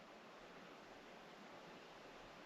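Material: Nothing is struck.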